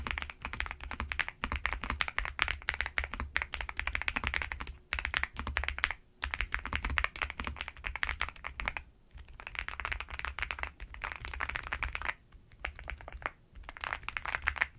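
Continuous typing on a black NuPhy gem80 mechanical keyboard kit with plastic keycaps, resting on a bedsheet and struck with fingertips and long nails. Rapid, bright, clacky keystrokes with a soft low thump under each press come in dense bursts, broken by brief pauses around 5, 6, 9, 12 and 13.5 seconds.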